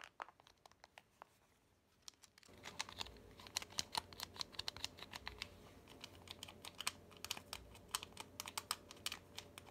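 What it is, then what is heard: Smartphone glass screen tapped with fingernails. Fingernails tap and scratch rapidly across the glass screen of a dark smartphone with a plastic or metal body, held close. Sharp, bright clicks start sparse over near silence, then come thick and fast after about two and a half seconds over a steady low scratching hiss.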